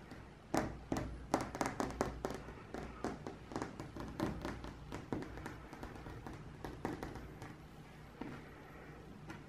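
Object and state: Ceramic wall tiles.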